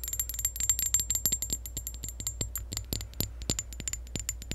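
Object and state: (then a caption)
Glass perfume bottle. A tall clear glass perfume bottle, partly filled with liquid, is tapped rapidly and irregularly with long acrylic nails. Each tap gives a short, bright clink with a high glassy ring over a faint low hum.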